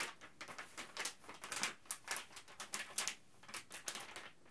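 A printed plastic Ziploc Zip'n Steam bag, held up in the air, is scrunched and crinkled by hand. The result is a fast run of sharp, bright crackles and rustles with very little low end. Each burst dies away almost at once.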